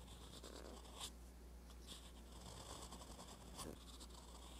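A metal fountain pen nib scratches across a flat page of a spiral-bound paper notebook while writing Korean letters. The result is a quiet, continuous scratchy sound with soft bright strokes. A steady low hum runs underneath.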